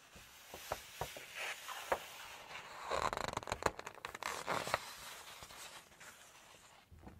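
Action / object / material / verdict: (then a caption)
scrape / glossy paper cookbook page / glossy paper / none. Long nails curl and turn a single glossy page of an open Chinese cookbook, rubbing and flexing the paper. Soft ticks and scratches lead into a louder burst of crinkling and fluttering taps in the middle. The sound then fades to a quiet rustle with one last faint crinkle.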